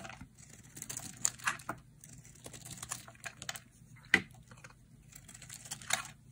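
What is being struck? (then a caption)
Bar of soap cut with a metal blade. A hand-sized, solid pink bar of dry soap with a white core is carved with a metal utility blade into brittle chips. Crisp, bright scraping and cutting sounds come in short, dry bursts over a faint low hum. A few sharper snaps stand out as chips break away.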